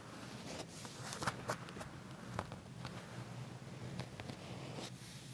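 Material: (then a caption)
Leather. Short nails scratch and tap the black leather of a pair of pants laid flat, just above the back pocket. Quiet, dry scratching runs throughout, broken by a scattering of brief, crisp taps over a low, steady hum.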